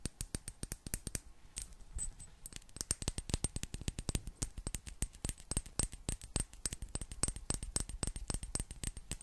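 Long black nails tap rapidly on a small, hollow, clear glass bottle with a gold metal cap, partly filled with water. The result is a dense, uneven stream of quick, sharp clicks with bright tops and a low thud underneath, each dying away almost at once with no lingering ring.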